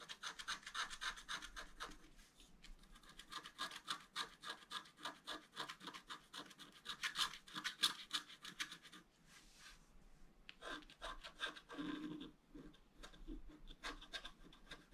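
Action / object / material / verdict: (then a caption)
scrape / black-coated scratch art paper and a wooden stylus / coated paper / none. A wooden stylus scratches a flat black-coated scratch art paper card, working over the basin and the lower part of the picture. Quiet, bright, dry scratching strokes come in quick, uneven bursts of about three to four per second, easing briefly around the middle before picking up again.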